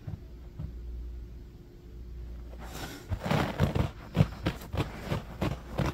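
Short fingernails of both hands scratch fast across low-pile beige carpet on the floor. After about three seconds of low, steady hum, a run of quick, dry, bursty scratching strokes begins, spreading from a low thump up to a bright hiss and continuing to the end.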